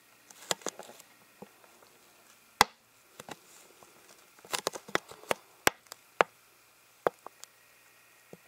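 An empty, hollow, clear plastic water bottle without a cap is tapped and flicked with fingers and nails. About fourteen short, sharp, bright clicks and taps come at an irregular pace, with a faint crinkle between some of them. Each tap dies away almost instantly, with no ring.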